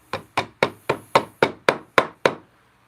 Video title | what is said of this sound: Installing Splines in a Handmade Box-Live | it sounds different when you're tapping it in